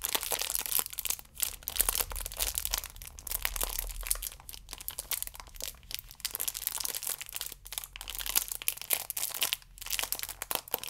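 Fingers rub and squeeze the ridged side edge of a stack of yeast sachets wrapped in clear plastic film while long nails scratch along it. The result is dense, bright crinkling with sharp, dry crackles that stop instantly, broken by brief quiet gaps.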